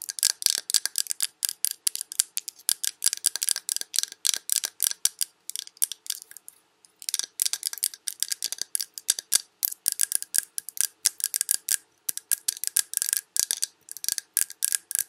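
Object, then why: Glass candle jar filled with wax. Long red nails scratch and tap the front of a large glass Yankee Candle jar with a paper label, full of wax. Rapid, bright, clicky taps and scratches come in dense bursts, each dying away almost instantly with no low end, and there is a brief pause midway before the tapping resumes.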